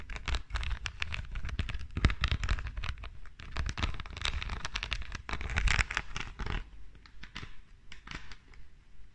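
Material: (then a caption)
Glass, rhinestones. Long dark nails scratch and tap across the studded face of a small flat perfume bottle with a silver metal frame and rows of green rhinestones. The result is a dense run of quick, crackly scratches and clicks with bright edges over a heavy low rumble. It thins to sparser taps after about six and a half seconds.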